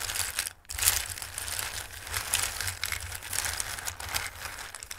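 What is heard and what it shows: Hands with long red-painted nails rub and shuffle their flat fingertips across a shallow dark round bowl filled with small, hard, dry red, yellow and green tree- and star-shaped pasta pieces. The result is a steady, bright, dry rattling and crinkling clatter. It pauses briefly just after half a second, then swells back louder and keeps going at an even level.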